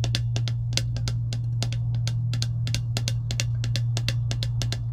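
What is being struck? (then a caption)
Plastic slider lid on an insulated metal tumbler. Long acrylic nails tap and scratch a clear plastic slider lid sitting on top of an empty insulated metal tumbler. Quick, crisp clicky taps come in rapid succession over a steady low hum around 109 Hz that runs throughout.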